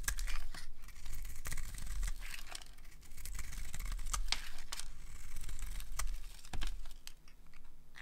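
A solid, bright green rectangular bar of dry soap, held in the hand, is carved with a metal blade as shavings are scraped off. The result is a continuous dry, crisp scraping and crumbling, like tearing, with many sharp, bright cuts and clicks over a low, steady rumble.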